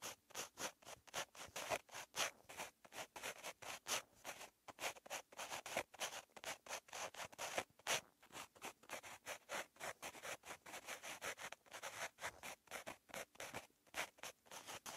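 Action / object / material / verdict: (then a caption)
scrape / pen tip on a lined paper notebook page / paper / none. A purple pen tip scratches across a lined paper notebook page while writing, making a quick run of short, dry scratching strokes. The sound is bright and thin with almost no low end, and each stroke stops dead with no ring.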